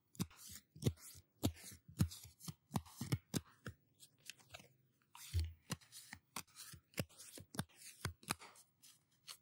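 A small, solid deck of paper playing cards with pink patterned backs is held in both hands and riffled with the fingertips close to the microphone. Around two dozen quick, dry snaps and flicks follow one another, each dying away almost at once, with soft papery rustling and faint thumps between them.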